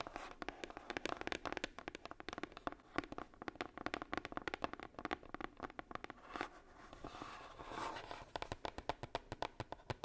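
Long nails tap rapidly on the lid and edge of a hollow red heart-shaped box, likely coated cardboard. The taps are quick, dry and clicky with almost no ring, centered in the mid range, and a brief softer scratching swell sits near the end before the tapping resumes.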